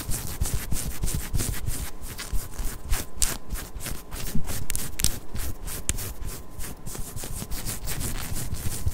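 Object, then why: Ribbed knit cotton top. Long nails scratch and rub a pink ribbed knit cotton long-sleeve top while it is worn, moving over the torso. Quick, uneven strokes repeat about three times a second, each a bright, airy scratch over a dull low rustle, at a steady moderate level throughout.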